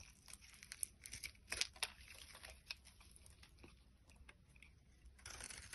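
A box cutter blade shaves layers off a solid orange translucent bar of soap held in the hand. Dry, crisp scraping and crackling sounds come with sharp, bright ticks, quiet overall with short louder bursts. The cutting grows steadier and a bit louder toward the end.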